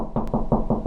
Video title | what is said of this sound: How To Find Wall Studs - 5 Easy Ways! | going to sound hollow and then when we get to the stud it's going to sound more solid